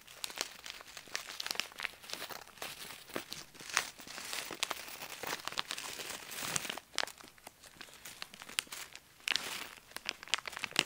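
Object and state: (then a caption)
Plastic zip bag of metal beads. A small clear plastic zip bag partly full of small gold metal beads or charms is held in both hands and crinkled, squeezed and shaken by the fingertips so the beads move inside. The result is a steady, quiet stream of bright, crisp plastic crinkling mixed with quick, sharp ticks and rattles, with almost no low end and a few louder bursts along the way.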